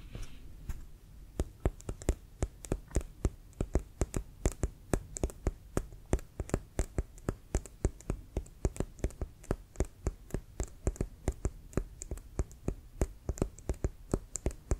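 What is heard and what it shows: A full-size inflated brown pebbled synthetic-leather American football with a white stripe is held steady and tapped with the fingertips. Dozens of short, dull, low thuds follow one another in a steady, quick rhythm, each dying away almost at once, with a faint soft hiss in between.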